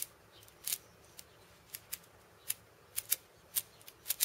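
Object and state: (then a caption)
Steel bead cabasa. Fingertips and purple-painted nails tap and scratch across the steel ball chains of a cabasa, a hollow wooden cylinder wrapped in metal beads. About a dozen short, bright, dry rattling clicks sound apart, with quiet gaps in between and almost no low end.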